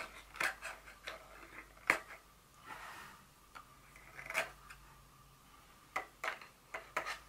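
Very long fingernails tap and scratch a small, hollow, white folded cardboard insert from a Dior fragrance box. Sharp, bright, clicky taps with a brief hollow ring alternate with soft scratching and rubbing in between, all at a quiet level.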